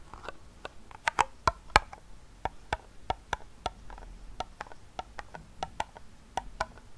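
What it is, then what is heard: Small round metal tin. Fingertips and short nails tap and scratch the side wall and base of a small, round, silver metal tin, closed and hollow, with a fidget spinner inside. About 19 sharp, irregular clicks ring briefly around 840 Hz with bright edges, separated by faint scratching.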